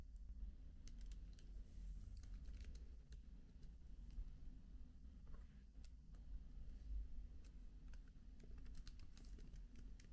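Fingertips type softly on the black plastic keys of a MacBook laptop keyboard with an aluminium body. Quiet, short, bright key clicks come in an irregular stream over a steady low hum.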